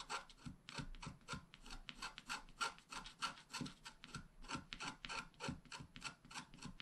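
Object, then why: Wax-coated scratch art card scratched with a wooden stylus. A wooden stylus scratches short grass strokes along the bottom edge of a flat black wax-coated scratch art card held flat by one hand. The result is a quick, uneven series of dry, raspy scrapes with bright edges and a faint whistly tone near 1.4 kHz. Each stroke stops short with almost no ring.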